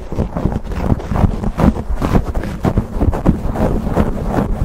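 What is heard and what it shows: Fingertips and short nails quickly scratch and squeeze a black foam windscreen on a silver condenser microphone. The result is a dense, muffled, bass-heavy rush of rubbing and crackling bursts that rise and fall continuously, with almost no high-end brightness.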